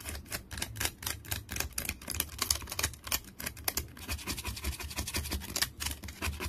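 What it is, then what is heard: Wooden stick with bark, scratched. Fingernails scratch a solid, bark-covered wooden stick, with debris falling onto a towel. A rapid series of dry, bright scratching and crackling strokes runs throughout, each quick and short with almost no ring, over a faint low rumble.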